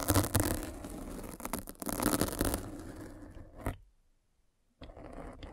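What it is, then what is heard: Foam microphone cover scraped with a spiked roller. A metal-spiked derma roller is rolled across the surface of a black foam windscreen on a microphone. The sound is a dense, crunchy, scratchy scraping with a low rumble, and it surges in waves for about three seconds. It fades, stops in near silence, and then resumes quietly.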